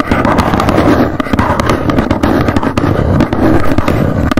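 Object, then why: Small cardboard box. Long nails tap quickly on the front and edges of a small, hollow white cardboard box standing upright. The result is a dense, continuous patter of dull, hollow taps with a boxy, low-to-mid body and very little bright high end.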